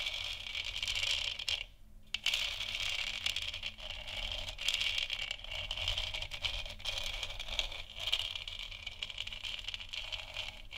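Long nails scratch and tap a large, hollow, textured plastic moon lamp sphere, making a continuous bright, crackling scratch with quick light taps mixed in. The sound drops out briefly around two seconds, then the steady scraping resumes with a low hum underneath.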